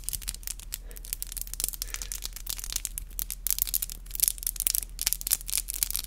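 Long black acrylic nails are clicked and tapped against each other, nail on nail, in close-up. Rapid, dense, bright clicks come in irregular bursts that grow sharper and louder toward the end, over a faint steady low hum.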